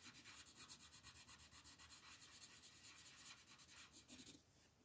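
A green wooden colored pencil shades leaves on the right side of a flat printed paper coloring sheet lying on a table. Quick, steady back-and-forth rubbing strokes make a soft, bright, papery scratching with little low end. The strokes stop just before the end, leaving a faint hiss.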